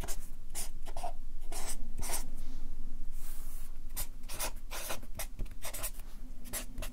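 A Sharpie marker writes in quick strokes on a stack of white paper resting on a clipboard, its felt tip scratching the sheets. The result is a rapid, uneven run of short, bright, hissing scratches over a steady low rumble.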